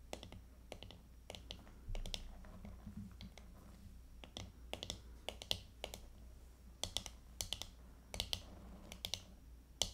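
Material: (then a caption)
Plastic. Long painted fingernails tap on the back of a small handheld hairbrush with a hollow plastic body decorated with glitter and coloured plastic, lying on a table. The taps are quick, bright plastic clicks with almost no ring, coming in irregular bursts over a steady low hum.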